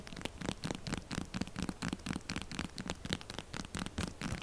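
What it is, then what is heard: Textured soap bar scratched and tapped. Long glitter nails rapidly scratch along the grooves of a pink textured solid soap bar and tap on its face. The result is fast, irregular patter of short, dry scratches and clicks with a bright, rasping edge and a soft low thump under each stroke.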